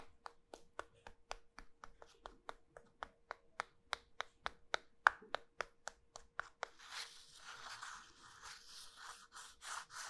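Two halves of a small, solid, pink starch-coated soap cylinder, held with long nails, are lightly knocked together in a quick, steady series of short, crisp clicks for about seven seconds. The halves are then rubbed together, making a soft, bright, scratchy rustle until the end.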